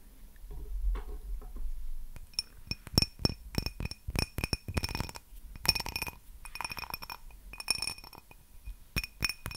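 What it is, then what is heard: Cut glass tumbler. A small, empty, faceted cut-glass tumbler is held in one hand and tapped and scratched with long painted nails. Bright glassy clinks and taps ring at a high pitch with very short decay, separated by soft scratching and handling noise.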